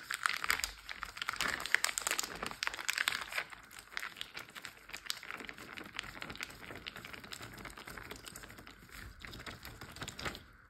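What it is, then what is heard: Water-filled plastic zip bag. Fingertips with short blue nails tap rapidly on a large clear plastic Ziploc bag full of water lying flat. The result is a dense stream of bright, crinkly plastic clicks and crackles with almost no low end. The tapping is busiest and loudest for the first few seconds, then settles into a softer, steadier patter.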